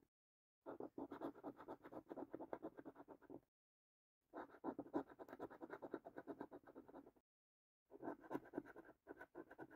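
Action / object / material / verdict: scrape / paper scratch card with latex coating / coated card / none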